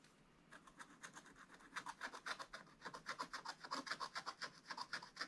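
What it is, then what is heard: Scratch-art paper being scraped. A wooden stylus held in the hand scratches the black wax-coated surface off a scratch-art page in a spiral-bound book lying flat on a table, revealing a colourful dragon picture. After a brief near-silent start, quiet, dry, bright scratching strokes follow in a quick, uneven rhythm of about four per second, growing slightly louder as the clip goes on.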